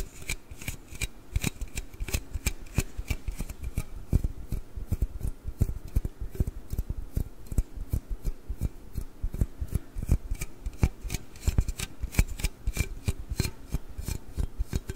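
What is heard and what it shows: A large, hollow aluminium Red Bull can is held sideways and scratched and rubbed with the nails. The result is a steady stream of quick, dry scratching clicks and taps, each dying away almost at once, with a dull, low-heavy body and little high brightness.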